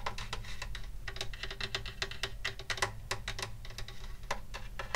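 Fingertips of both hands tap rapidly and irregularly on the wooden top of a hollow wooden acoustic guitar held in the lap. Each tap is a short, dry click with a bright edge around 2 kHz that dies away almost at once, over a steady low hollow rumble.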